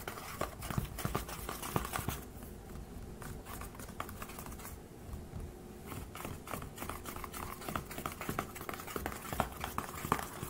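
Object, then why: Aluminium laptop lid. Fingernails tap quickly and scratch across the silver aluminium lid of a closed HP laptop and over its logo. The result is a dense run of short, dry clicks over a soft scratchy hiss, with the bright scraping easing off in the middle before the tapping picks up again.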